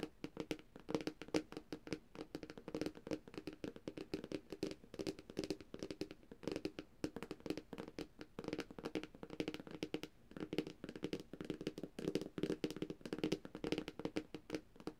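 Long dark-painted nails on both hands tap rapidly across the glossy glass screen of a thin, solid, flat black Samsung tablet. The taps are quiet, dry, clicky ticks with a hollow midrange body and almost no ring, running in a steady, busy stream.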